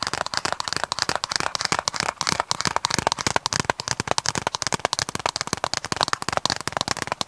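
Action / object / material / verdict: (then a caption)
tap / hard plastic DVD case / plastic / none. Fingertips and nails tap and scratch across the surface of a hollow, hard plastic DVD case with a printed cover sleeve, held in both hands. The result is a rapid, steady stream of sharp, dry clicks and scrapes that die away instantly, bright and crisp with a hollow plastic tone near 1 kHz and almost no low end.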